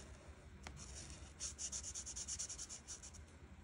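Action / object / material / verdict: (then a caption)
scrape / felt-tip marker on a paper sheet / paper / none. A felt marker tip rubs repeatedly in short strokes across a flat paper coloring page, filling in dark teal leaves. After a single faint stroke near the start, a quick run of soft, bright, scratchy swishes follows in a loose rhythm, then fades back to a quiet, low background hum.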